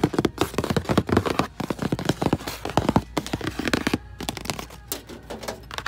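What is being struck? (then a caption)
Plastic treadmill control panel buttons. Fingertips tap quickly across a row of round, numbered plastic buttons on a treadmill control panel above a slotted vent grille. The result is a dense run of short, dry plastic clicks and thunks with almost no ring, heavy in the low-mids and light on highs, with a few brief pauses between bursts.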